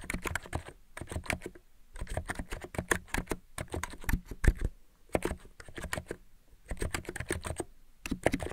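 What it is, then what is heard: Plastic mechanical keyboard. A white mechanical keyboard with purple-lit plastic keycaps is typed on with fingertips. Quick, dry clicks come in bursts of rapid tapping with short pauses between them, the sound heavy in the low end and with almost no ring after each keystroke.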